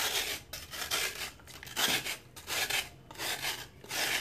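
A metal knife shaves a hand-held solid piece of dried sand-cement over water, making repeated bright, rasping scrapes. Fine powder can be heard falling between the strokes.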